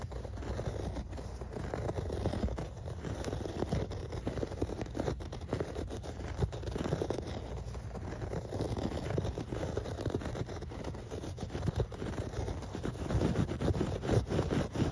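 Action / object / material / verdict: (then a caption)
scrape / shag carpet pile / textile fibres / none. Nails and fingertips scratch and rake through the dense pile of a grey shag carpet. The result is a steady, muffled scratching and rustling texture, heavy in the low end with almost no bright content, rising and falling slightly in loudness throughout.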